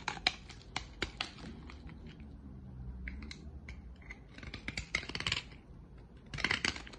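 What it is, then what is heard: Dry solid bar soap being cut. A utility-knife blade cuts flakes off the end of a solid, dry green soap bar, making crisp, bright scraping and snapping clicks in short bursts over a faint low hum. The cuts come in uneven clusters with quieter stretches between, and each click dies away almost instantly.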